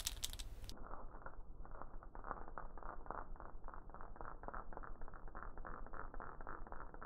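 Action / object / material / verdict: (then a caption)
shake / dried gourd shaker with wooden bead net / gourd, wood / none. A hollow dried gourd wrapped in a wooden bead net is hung by its neck and shaken, giving a strong, continuous rattle of beads against the gourd. A brief bright, full-range burst at the start gives way to dense, muffled, rhythmic clattering that stays below the high range.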